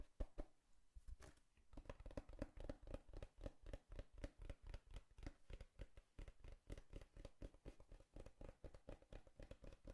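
Fingertips tap and scratch a hollow brown cardboard box with a torn surface layer, making a quick, uneven run of soft, dull thuds at roughly four per second. Papery scratching sounds fall between the taps. The sound is quiet and mostly low, and each tap dies away almost at once.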